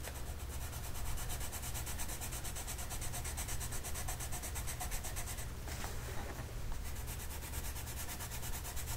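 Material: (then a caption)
Paper. A purple colored pencil rubs and scratches across a printed paper mandala coloring sheet lying flat on a table while the other hand holds the sheet steady. A steady, continuous scratchy rubbing with rapid, bright, regular ticking rides over a constant low hum near 66 Hz at an even level throughout.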